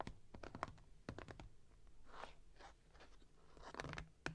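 Long nails scratch and tap a closed, printed cardboard product box, which is then lifted upright and held. Short, dry clicking taps come first, then soft scratchy swishes in the middle, and the sharp taps return at the end, all quiet over a low background hum.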